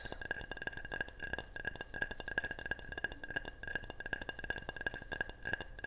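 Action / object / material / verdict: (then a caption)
tap / ceramic object / ceramic / none. A ceramic object is tapped repeatedly in a quick, steady series. Each tap gives a short, bright clink with a clear ringing tone around 1.6 kHz that dies away almost at once.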